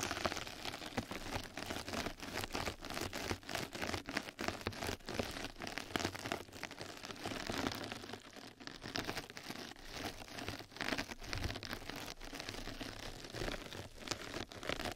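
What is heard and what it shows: A flat yellow knitted-mesh bath scrub sponge pad covers a microphone while two mascara brushes scratch and brush across its surface. The result is a dense, continuous crackling and rustling texture, broadband and bright, made of many rapid short scratches.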